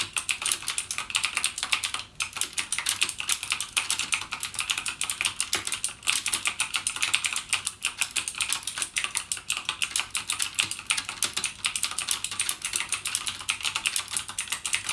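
Fingertips type continuously on a full-size backlit mechanical gaming keyboard with plastic keycaps and clicky Cherry MX Blue switches. A rapid, steady stream of sharp, bright clicks with very short decay fills the clip, with almost no low end.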